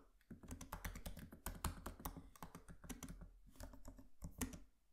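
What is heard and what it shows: Fingertips of both hands type rapidly on the solid, low-profile plastic keys of a MacBook laptop with a metal body, resting on a desk. A fast, steady stream of soft, dry key taps and clicks with a low, thumpy body and very short decay continues until the typing eases off at the end.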